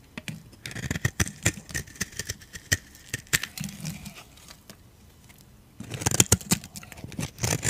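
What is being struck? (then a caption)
Soap bar. A metal utility blade scrapes crunchy curls off a solid oval beige dry soap bar held in the hand. Dry, sharp, bright crackling scrapes come in quick bursts, with a brief quiet stretch in the middle before a denser run of crunching at the end.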